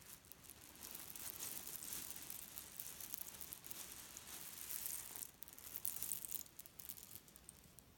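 A hand grabs a small grey leaf-print cotton pillow filled with cherry stones from a bed, lifts and squeezes it, then releases it flat. The pits shift against each other in a quiet, dense, bright rattling crunch, like soft crinkling, swelling and easing as the pillow is handled.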